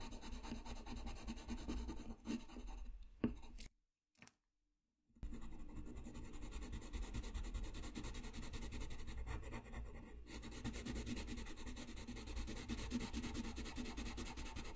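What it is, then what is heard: Paper sheet. A colored pencil rubs and scratches across a flat white paper sheet lying on a desk in repeated coloring strokes, making a steady, dry scratching texture. The strokes stop briefly into near silence a few seconds in, then resume and continue evenly to the end.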